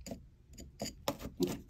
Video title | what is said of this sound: DIY Game Controller Bubble Bath Bomb! - Color Surprise Inside! | you can kind of hear that sounds like ceramic just when they touch each other